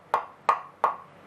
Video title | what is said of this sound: The Great Guitar Build Off 2022 Part 32 - It Looks Like A Guitar Again! | here's where the controller or where the switch cavity is you can hear the difference in the sound